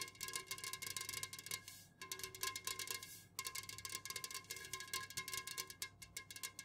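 Long nails on both hands fast-tap the sides of an unopened, full Jumex Guava Nectar aluminum can standing upright on a fuzzy cloth. A rapid, dense stream of bright, crisp metallic clicks carries a short ringing tone near 1 kHz. The clicks pause briefly around the two- and three-second marks.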